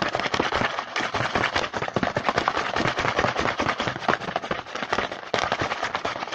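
A printed cardboard Hanuta snack box is held in the hand while fingertips tap and scratch fast on its front panel. The result is a dense, irregular stream of crisp, dry clicks and scratchy rustles, mostly mid-to-high in tone, with no speech.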